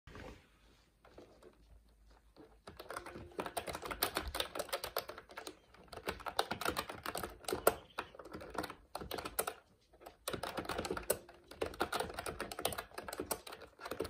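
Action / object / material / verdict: tap / plastic mechanical keyboard / plastic / none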